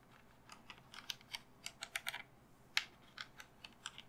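Long fingernails tap a cream, hollow-looking resin skull candle holder as it is turned in the hands. About fifteen quick, bright clicky taps come in an uneven rhythm, some bunched close together. Each one is quiet and dies almost at once, with very little low end.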